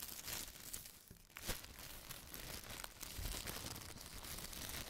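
A hand folds and rolls the edge of a large, thin, empty white printed plastic bag. The result is a steady, dense crinkling with sharp, bright crackles over a soft low rustle, punctuated by a few louder crisp snaps.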